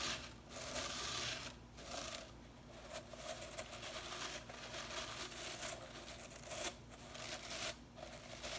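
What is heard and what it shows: Fingertips and nails flick and scratch the blue synthetic bristles of a small whisk broom with a white plastic handle lying on cloth. The result is a bright, crackly, dry rustling with a faint lower hum, coming in sustained bursts separated by brief quieter pauses.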